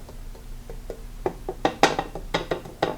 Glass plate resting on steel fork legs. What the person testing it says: you hear that that means they've been pushed one Forks been pushed ahead of the other